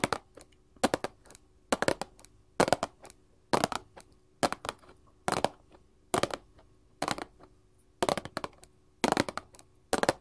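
A small printed paperboard candy box on a table is tapped with long gold filigree metal claws on both hands. Twelve quick bursts of rapid, dry, crisp clicking come in a loose rhythm about once a second, each rattle bright and dying away almost instantly, with quiet pauses between.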